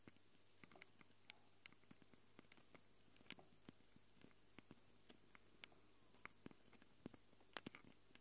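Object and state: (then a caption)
Metal mic capsules on a handheld recorder. Long glitter nails tap and scratch the metal mic capsules of a small black handheld Tascam recorder. About 19 sharp, dry clicks with bright edges stand out over a quiet, steady low hum. Soft scratching fills the gaps between them.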